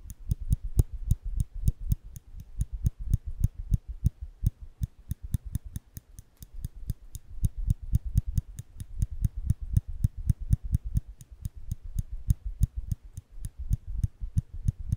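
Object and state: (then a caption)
Steel nail clipper clicking. A small solid steel nail clipper is held between fingertips above the microphones, and its lever is pressed over and over so the jaws click shut. The result is a steady run of dozens of short, dry clicks, each with a low thud and a bright tick that stops at once with no ring.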